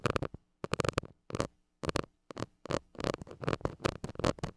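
A flat white plastic stick scratches the hollow metal mesh grille of a small gold mini microphone. Quick, close, muffled scraping bursts come in clusters separated by brief silences, with a low, boomy body and dry, raspy texture. Each scrape stops dead with no ring.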